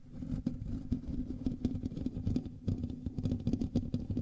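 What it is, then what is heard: Metal mesh microphone grille being scratched. Both hands scratch the hollow metal mesh grille of a black USB microphone with fingertips and nails. The result is a dense, close, bassy scratching and rubbing with rapid uneven bursts over a steady low tone near 250 Hz.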